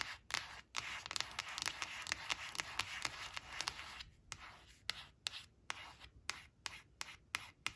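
Long nails trace and scratch over a thin, flat glossy coated-cardboard picture card showing a green crayon, resting on a fabric cloth. A dense, bright scratching rasp fills the first four seconds, then gives way to sparser, sharp ticking strokes against near silence.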